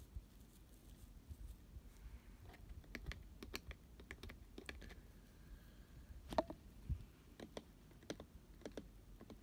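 Fingertips and nails tap the sides of a hollow, medium-sized pink glitter-coated cardboard cupcake box and touch its fabric lid. The result is a quiet, irregular series of short, dry clicks and taps that die away almost instantly, over a low background rumble.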